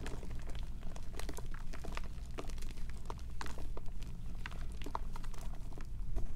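A solid gym chalk block of magnesium carbonate is pressed and crumbled by both hands, fingertips and palms crushing and rubbing it over a black bowl holding chalk fragments and powder. Dense, dry crunching and crinkling snaps run continuously over a steady low rumble.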